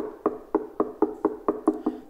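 A Klipsch CF4 wooden loudspeaker cabinet is knocked eight times at a steady pace, for comparison with a Klipsch KLF30. Each knock is a short, dry, hollow tock centred around 420 Hz that dies away almost at once. The CF4 cabinet sounds a bit less full and solid than the KLF30: good, but it could have been better.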